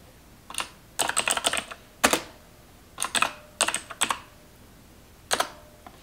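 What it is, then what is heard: Plastic computer keyboard. Long nails type on the keys of a black plastic computer keyboard resting on a counter. Bursts of sharp, bright clicks come in irregular clusters separated by short pauses, each keystroke dying away almost instantly.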